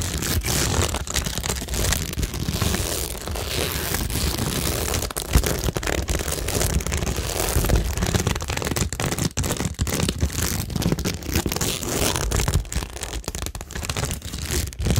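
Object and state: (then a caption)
Cork board with plastic rhinestones, scratched and tapped. Long nails scratch and tap across a cork tingle board studded with small multicolour plastic rhinestones and pearls. The result is a continuous, dense crackle of scraping and clicking with a steady low rumble underneath and bright, gritty detail on top.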